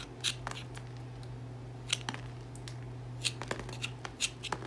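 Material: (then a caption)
Soap. A solid cream Dettol bar soap, held in the hand, is scraped repeatedly across its surface with a serrated metal comb tool on a wooden handle. Short, bright, crisp scratches come in uneven bursts and die away almost instantly. A steady low hum runs underneath.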